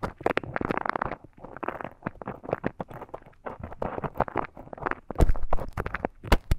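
A thin bamboo stick scratches inside the ear canal of a life-size soft silicone ear model, making dense, close crackling and scraping bursts with a heavy low rumble. The short, dry scratches come in uneven clusters, with a louder run of crackles near the end.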